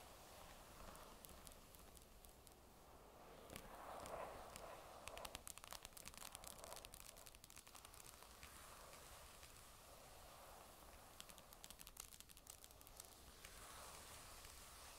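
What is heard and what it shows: Long acrylic nails tap and scratch the magnesium back of a thin, flat, hollow grey Microsoft Surface tablet lying face down. Quick, irregular clicks and scraping rasps run throughout over a low steady hum, with an added echo effect giving the taps a roomy tail. The sound is quiet overall, with a denser, louder burst of scratching in the middle.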